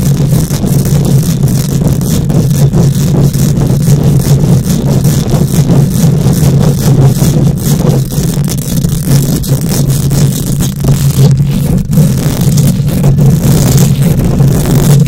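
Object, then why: Wire-mesh microphone grille. Long nails on both hands scratch rapidly across a bare metal wire-mesh microphone grille. The result is a loud, steady, dense scraping roar dominated by a deep low rumble centered around 145 Hz, with faint bright scratchy texture on top.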